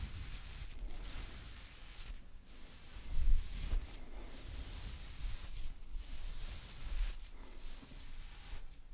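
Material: Nothing is struck.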